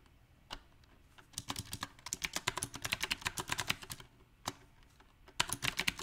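Both hands type with their fingertips on a compact 68-key backlit mechanical keyboard with round plastic typewriter-style keycaps on a silver metal frame, set on a desk. A single tap is followed by a long run of rapid, uneven keystrokes, then another lone tap and a final quick burst. Each keystroke is a short, bright click with almost no ring.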